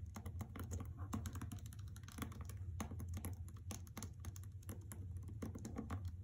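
Long painted fingernails and fingertips tap and scratch a solid hardcover novel, The Trespasser, in a white paper dust jacket lying flat on carpet. A rapid, steady run of dry, crisp clicks and scrapes sits over a low, constant rumble, each tap fading quickly.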